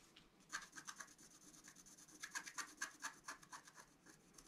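A wooden stylus scratches a flat scratch-art card of black-coated paper in continuous strokes. It makes quiet, dry, rasping scratches with a bright, hissy edge and almost no low end. The strokes come in quick, uneven bursts, about two per second, for the whole clip.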